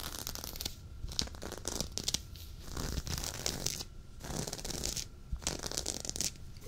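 Fingertips and short nails of both hands scratch a dark, soft waffle-knit sweater worn on the chest. The result is a dense, rough, bright scratching hiss in repeated bursts with brief quieter gaps, over a low rumble.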